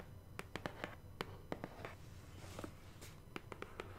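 Long painted nails tap and scratch across the flat surface of a large, hollow, black printed BoxyCharm cardboard subscription box held upright. Thirteen short, dry taps come through quietly, each dying away almost at once, with soft scratching between them over a steady low hum.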